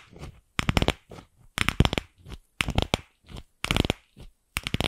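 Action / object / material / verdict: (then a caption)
tap / plastic ball tapped with fingernails / plastic / none. Long pink nails tap and scratch the surface of a single palm-sized, empty, pink hollow plastic ball held in a hand close to the microphone. Bursts of quick, bright, clicky taps alternate with softer, duller scratching passages, set apart by brief silences.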